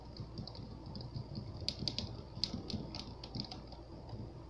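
Fingernails from both hands tap and scratch the curved surface of a clear plastic globe filled with water and Orbeez, sitting on an LED base. The result is a steady run of quick, bright, clicky taps with short scratchy strokes over a soft, low murmur, each tap dying away almost instantly.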